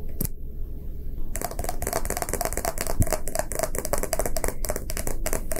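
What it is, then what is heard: Hollow plastic capsule. A small, hollow, empty round plastic gacha toy capsule, half clear and half lime green, is held in both hands and tapped and scratched with fingertips and short nails. After a brief quiet start, a dense, fast run of dry, crisp clicks and scratchy rubs follows, each tap very short with no ring, over a steady low hum.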